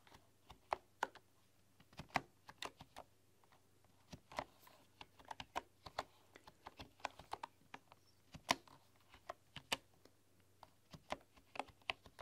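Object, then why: Bamboo computer keyboard. Fingertips and long, dark-polished nails tap and type across a full-size keyboard with a bamboo body, bamboo keycaps and a hollow case. About 25 sharp, short clicks and clacks land at an uneven pace with brief gaps between them, each dying away almost instantly over a faint low hum. The taps have a bright, hollow woody edge.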